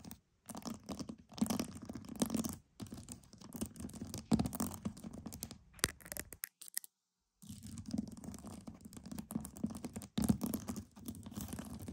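Pearls are tapped and scratched for ASMR, giving quiet, dense clicking and rasping with a low hum-like body near 200 Hz and faint bright edges. The sound comes in bursts separated by brief silences, with the longest pause in the middle of the clip.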